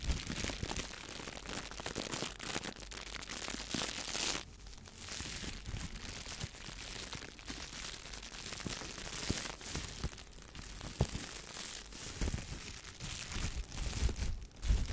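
A clear, thin plastic shower cap is crumpled in the hands, then pulled and crinkled with fingers and nails. The result is a steady, dense crackle of bright, papery crinkling with a low rumble beneath it and occasional sharper snaps.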